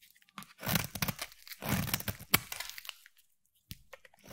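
A utility knife blade scrapes and shaves the surface of a solid pale yellow bar of soap held in the hand. Bursts of crisp, crunchy scraping with a low body and a bright crackle come in two long passes, with one sharp crack standing out. After a brief silence, a few quieter scrapes follow.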